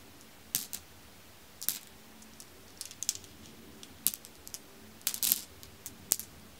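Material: Glass.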